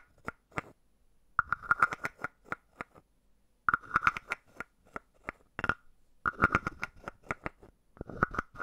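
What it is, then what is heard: Carved wooden frog. A palm-sized hollow carved wooden frog is tapped on the head with a wooden stick. It gives short, dry, woody clicks with a hollow tone around 1.4 kHz that die away almost instantly. The taps come in quick clusters separated by brief pauses.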